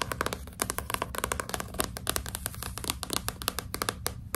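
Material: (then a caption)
Cardboard. A solid, closed Nancy Drew hardcover book with a glossy cardboard cover is held upright in both hands while long pink nails tap and scratch its front cover. Quick, sharp, bright clicks fall in a rapid, uneven stream, mixed with short scratchy strokes and a steady low hum underneath. Each tap dies away almost instantly, leaving a dry, crisp texture.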